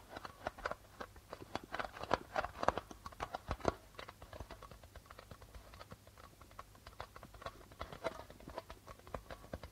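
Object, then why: Darbuka drum with plastic head. Fingertips tap rapidly on the white plastic membrane of a hollow darbuka drum. The taps are quick, dry clicks centered near 1 kHz with almost no ring. They are louder and busier in the first four seconds, then continue more softly.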